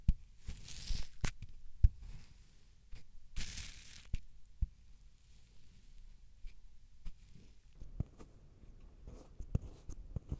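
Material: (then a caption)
Kinetic sand. A metal-and-black cylindrical stamping tool with a waffle-textured face is pressed down repeatedly on a solid, moldable mound of multicolored kinetic sand sitting on a white surface, flattening the pile. The pressing makes soft, low, crunchy squishing thuds with a few brief bursts of bright crackling grit.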